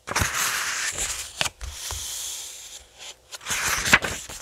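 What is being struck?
Paperback graphic novel with glossy paper pages.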